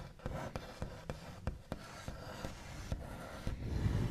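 The backs of fingernails trace and tap across a large, solid, smooth white-finished wooden table top. Several sharp taps rise out of a steady, soft, scratchy rubbing, with a dull, low-heavy body and a short wooden ring after each tap.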